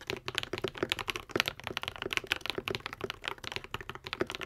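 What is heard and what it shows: A modded Epomaker TH80, a white and pink 75% mechanical keyboard with Akko V3 Cream Yellow switches and plastic keycaps, is typed on continuously with the fingertips of both hands. It gives a quick, steady stream of short, bright clacks with a slight hollow low-mid body. Each keystroke stops dead with no ring.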